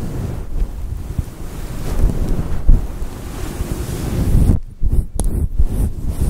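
Fingers with long nails rub and scratch a fluffy synthetic faux fur microphone windscreen cupped in both hands. The result is a steady, muffled low rumble like wind or surf, with almost nothing bright. Near the end the sound briefly drops out in short gaps between swells.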